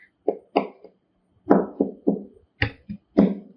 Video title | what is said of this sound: 07 ఆత్మబోధ శఙ్కరాద్వైతమ్ - Atmabodha - #AdiShankaracharya #AdvaitaVedanta #humanlightslive | మూడు రకాల శబ్దాలు వచ్చినాయి ఒకటే బల్లని కొడుతూ ఉంటే ఎందుకు వచ్చినాయి నువ్వు ఎట్లా తడితే అది అట్లా పలుకుతుంది